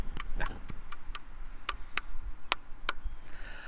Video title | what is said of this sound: Addressing Gettysburg- Fake Cannons, Pointing Out Landmarks & Stacks of Balls- #Gettysnerd | that don't sound like no real cannon